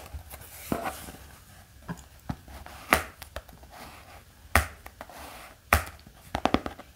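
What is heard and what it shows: A black hardcover notebook lying flat is tapped with the fingertips, giving twelve short, dry taps spaced irregularly apart. Each tap is a muted mid-pitched knock with a faint bright click that dies away almost at once, over a soft, quiet background hiss.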